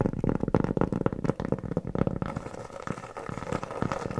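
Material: Cork.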